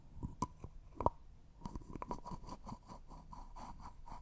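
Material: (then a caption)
Glass, plastic. Nails and fingertips twist, rub and tap the white plastic screw lid of a small, hollow, clear cosmetic jar that looks like glass and appears empty, held in both hands. A few sharp, clicky taps stand out early, followed by a steady run of soft scratching and rubbing. A faint ring sits near 1 kHz throughout.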